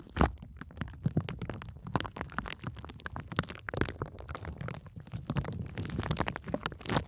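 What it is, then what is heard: Plastic bubble wrap. A sheet of clear plastic bubble wrap with air-filled bubbles is wrapped around the microphone while long nails and fingertips press and scratch the bubbles. The result is a dense stream of close, muffled crinkles and soft thumps, heavy in low rumble, with brief bright scratchy clicks. There is no clear popping.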